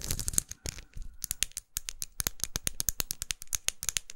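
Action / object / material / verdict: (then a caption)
tap / plastic lipstick case / plastic / none. Long acrylic nails tap and scratch along the studded surface of a small, closed, red faceted plastic lipstick tube with a dark band, held upright. A scratchy rustle at the start gives way to a rapid string of sharp, bright clicks that stop dead with no ring.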